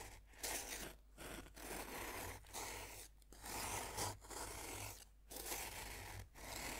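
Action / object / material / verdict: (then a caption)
scrape / pressed-powder bath bomb / pressed powder / none. A metal knife tip scrapes and digs into the top of a solid, dome-shaped pink pressed-powder bath bomb held in the hand. The result is a series of gritty, crunchy scraping strokes, bright and broadband, separated by brief quiet gaps.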